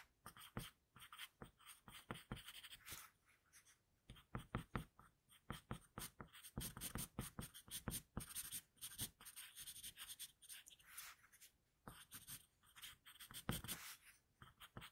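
A flower-patterned HB wooden pencil is scratched across a flat drawing paper sheet in continuous shading strokes. It makes a quiet, dry, bright scratching in rapid, uneven bursts of back-and-forth strokes with short pauses between them.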